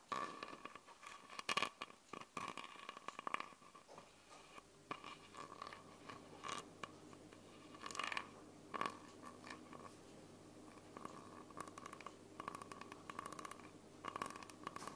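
Long purple nails tap and scratch the red cap and body of a small, clear plastic Coca-Cola bottle with a red label, hollow and mostly empty, close to the recorder. Quiet, quick bright clicks and crinkly scrapes come in dense bursts with very short ring, over a faint steady tone near 1.1 kHz and a low hum.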